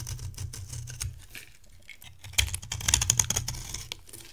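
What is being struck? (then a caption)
Cream bar soap cut with a metal knife. A metal knife blade carves into a solid, dry cream bar soap held in the hand, breaking off chunks and flakes. Quiet scraping gives way to a run of sharp, bright crunching clicks over a low, steady hum, with each snap stopping almost instantly.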